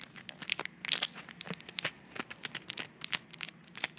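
Fingertips and nails press, tap and crinkle the plastic blisters of a flat blister pack of white pills, plastic-fronted and foil-backed, held up in the hands. The result is a quick, uneven run of sharp, dry clicks and crinkles, almost entirely high and bright, with no low end and no ring after each touch.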